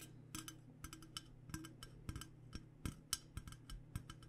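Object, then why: Metal water bottle. Long painted nails tap quickly on a hollow, purple powder-coated Klean Kanteen metal water bottle. About eighteen short, bright clicks with almost no ring fall in an uneven rhythm over a steady low hum.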